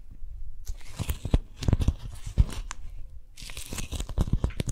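A small strawberry-print beeswax-coated cotton food wrap is held in both hands while fingertips and long nails stretch, pull and grip the waxed fabric sheet. After a brief quiet start, it gives stiff crinkling and crackling bursts with a tearing-like texture, each carrying a dull low thump and bright papery sizzle. The sharp pops come in irregular clusters.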